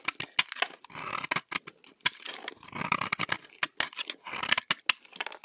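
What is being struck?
Bar of soap.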